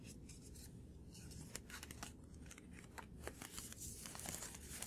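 A small white paper card held in one hand is rapidly tapped and flicked with the fingertips and short nails. The result is a quick run of dry, papery clicks and bright crisp snaps over a steady low hum.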